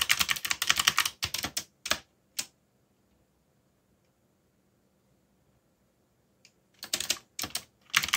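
Fingertips type on a backlit plastic mechanical keyboard with dark plastic keycaps, making rapid, bright, clacky keystrokes in quick irregular bursts. The typing stops for about four seconds of near silence, then resumes with a few more quick flurries of sharp clicks.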